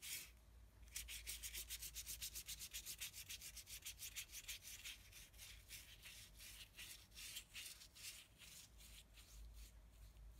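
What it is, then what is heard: Brush scrubbing on heavy paper. A small flat brush with a yellow handle is scrubbed and rubbed against the painted lower area of a flat, thick sheet of heavy painting paper. Quick, bright scratchy strokes repeat at an uneven, brisk pace over a low steady hum.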